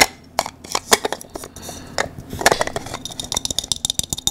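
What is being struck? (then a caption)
3D-printed plastic cylinder puzzle. A small, hand-sized blue 3D-printed plastic cylindrical puzzle with a textured, ridged surface is held in both hands while fingertips and nails scratch and twist its parts. About twenty short, bright, dry clicks and scratchy rasps come in an uneven series, each cutting off almost instantly with no ring.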